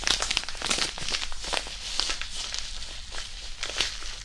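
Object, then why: Disposable hand warmer pouch with iron powder. A small white disposable hand warmer, a non-woven fabric pouch filled with iron powder, is squeezed and crinkled in both hands above the mic. Dense, bright crinkling and grainy rustling run throughout with a steady low hum underneath, rising into sharper crackles near the start and again toward the end.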